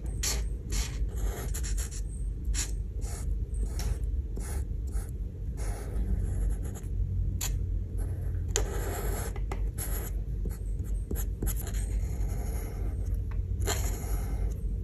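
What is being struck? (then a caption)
Plastic marker nib on a thin paper sheet over a wooden table. A plastic art marker nib is drawn and rubbed in short strokes over a thin printed paper coloring page of a cake drawing, resting on a wooden table. Repeated bright, scratchy strokes of varying length sit over a steady low rumble that dominates the sound.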